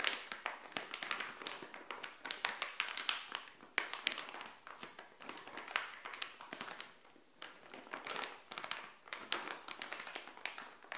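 Long nails tap and scratch a small, flat, printed plastic SHEIN bikini pouch lying on a tile floor. A dense run of crisp, bright clicks and crinkly scratches follows, with almost no low end and very short decay.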